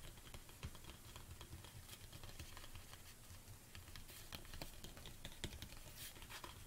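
Long nails tap quickly on the sides of a large, hollow black plastic protein tub standing on a table. The result is a soft, rapid patter of dry clicks over a low, hollow thrum, with the occasional sharper, brighter tap and almost no ring after each strike.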